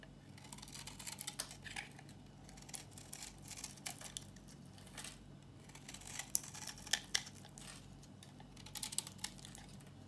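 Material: Soap.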